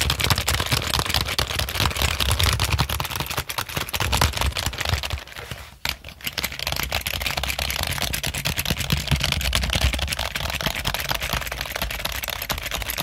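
Fingertips press and tap the keys of a full-size black plastic Logitech keyboard with a hollow body, held upright near the microphone. Dense, rapid bright clicks sit over a steady low hollow thump. There is a brief pause near the middle before the tapping resumes.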